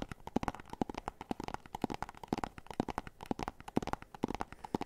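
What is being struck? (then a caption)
Small cardboard box. Fingernails tap and scratch on a small, hollow, white and orange printed cardboard box. Quick, dry, hollow-sounding taps with a low-mid knock come in a steady rapid run, mixed with softer scratchy rustling between them. The sound is quiet overall, and each tap dies away almost instantly.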